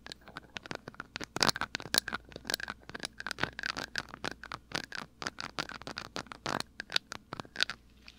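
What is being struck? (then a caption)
Small glass dropper bottle. Fingertips and short nails scratch and tap a small amber glass dropper bottle held close to the right side of a microphone. Dozens of quick, dry, bright scratches and clicks come in an uneven patter, each dying away at once with no ring, over a faint low hum.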